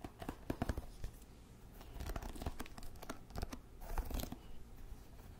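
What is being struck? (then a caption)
Wooden hairbrush with wooden pins. Fingernails scratch and flick the wooden pins of a small wooden paddle hairbrush with a solid handle. The result is a quick run of dry, crackling ticks and scratches that stop almost instantly. Each sharp flick stands out over a steady, low rustle.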